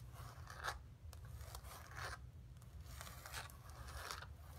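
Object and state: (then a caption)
Painted canvas panel. Long pink nails scratch across the textured paint of a flat painted canvas board lying on carpet. Dry, raspy scratching strokes come in irregular bursts with a bright edge, over a steady low background rumble.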